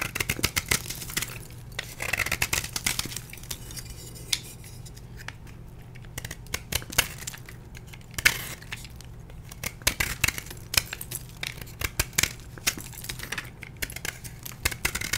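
A solid blue and white dyed gym chalk block, held in hand, is carved with a metal blade into brittle chunks. Dense bursts of sharp, bright scraping and crumbly crunching clicks come in quick clusters, with brief quieter pauses between them, over a faint steady low hum.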